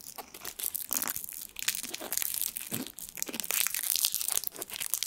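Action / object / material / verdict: scrape / foil sweet wrapper / foil / none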